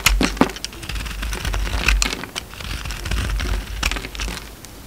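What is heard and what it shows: A utility knife blade shaves flakes off a solid oval bar of soap with a purple outer layer and an orange core. Crisp, irregular scraping and cutting clicks with bright, crackly edges sound over a low, steady rumble, each stroke stopping short with almost no ring.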